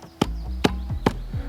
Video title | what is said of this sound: How To Build A Double For Mountain Biking - Building A Gap Jump | push down and tapping, just condensing it, making it solid. Listen to that, it's pretty solid now.